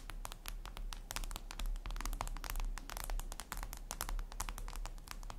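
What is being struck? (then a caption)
Flat glass mirror surface. Long red acrylic nails tap and click rapidly on a flat, solid, reflective glass mirror tabletop surface. The sharp, bright clicks come in quick, uneven bursts over a steady low hum, each one dying away fast.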